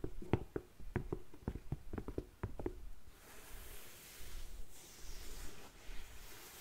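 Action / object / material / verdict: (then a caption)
tap / suede boot / suede / none. Long nails tap and scratch a tall, empty black suede boot held up by hand, working over its hollow shaft and toe. A quick run of short, dry, low taps fills the first three seconds, then gives way to a soft, airy scratching hiss across the suede.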